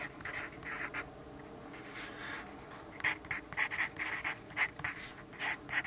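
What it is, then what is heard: Pencil writing on a paper notepad. A yellow graphite pencil writes continuously on a lined paper notepad resting on a wooden desk. Dry, bright scratching strokes centered around 2 kHz come in short bursts. The strokes grow louder and more clipped in the second half, with almost no low end.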